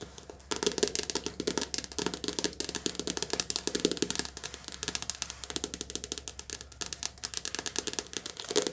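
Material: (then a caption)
Paper, card. A softcover paperback book with a glossy card cover is held in the hands and tapped rapidly with long nails. The result is a dense, continuous run of crisp, dry clicks with a bright top and almost no ring, over a faint steady low hum.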